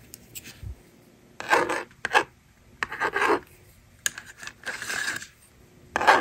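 A handheld plastic toy magnetic drawing board: its plastic eraser slider is clicked and slid, and the stylus scratches out numbers. Bursts of dry, raspy scraping and rubbing alternate with sharp plastic clicks, separated by brief quiet gaps.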